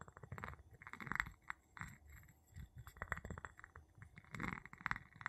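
The tip of a wooden handle taps and clinks on the bottom and side of a small, empty, clear glass jar held upside down. Quick, dry taps with short bright clinks ring around 1.9 kHz, over soft low rumbling. They come in uneven bursts and die away almost instantly.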